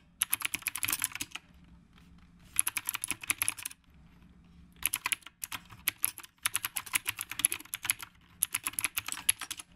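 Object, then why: Mechanical keyboard with round plastic keycaps. Fingertips of both hands type continuously on a black retro typewriter-style mechanical keyboard with round plastic keycaps. Rapid, crisp, bright clicks come in several bursts separated by short pauses, each keystroke sharp with almost no ring and little low end beneath a faint steady hum.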